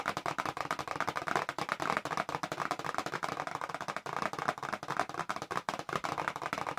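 Long nails tap quickly on the front face of a small, hollow, printed cardboard box for press-on nails held upright. A rapid, steady stream of dry, hollow clicks follows, each one short with almost no ring, and a papery mid-range tone runs throughout.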